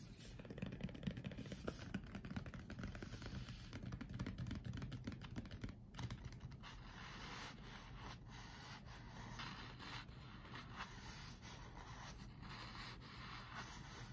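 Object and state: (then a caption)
Cardboard box tapped with fingertips. Fingertips of both hands tap in a typing motion on the back face of a closed, printed cardboard Apeach keyboard box, hollow with the product inside. The result is a quick, continuous patter of soft, dull, hollow taps with a low, boxy thump and very short decay. A faint high hiss runs underneath.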